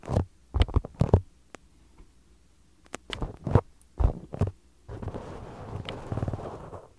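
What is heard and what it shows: Two identical small solid polyurethane foam soccer-pattern stress balls are held against a microphone and tapped and scratched with fingertips and short nails. The first half brings soft, dull, low thuds in short clusters separated by near silence. The clip ends with a sustained scratchy rubbing texture.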